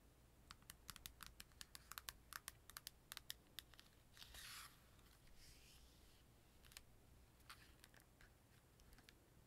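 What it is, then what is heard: Plastic handheld game console tapped with fingernails. Long dark-painted nails tap and click along the casing and hinge of an open, small, hollow-shelled purple plastic Nintendo 3DS held in both hands over a cloth-covered table. Quick, bright, dry clicks come in rapid clusters, with a brief scratchy rubbing swish in the middle. Sparser taps follow, each dying away almost instantly.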